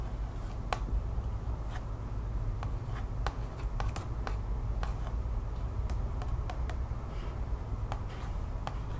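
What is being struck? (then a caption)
Thin cardstock print card. Long painted nails scratch and tap the printed surface and edges of a thin, flat cardstock art print card held up in the hand. Sharp, bright ticks land irregularly over a steady low rumble.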